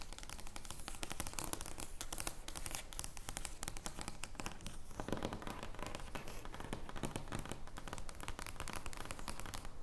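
Long nails tap and scratch the surface of an oversized thin paper joker playing card lying flat on a wooden table. Dense, irregular papery scratching and crinkly taps run continuously at a steady level, with short, dry hits that don't ring.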